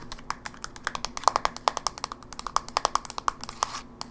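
A closed, small silver plastic GameBoy Advance SP with a hollow casing is held in the hand and tapped fast with long fingernails on the top lid and hinge side. About 33 short, dry, clicky taps come in a quick, uneven run, each with a hollow tone near 1 kHz, a bright edge and almost no ring.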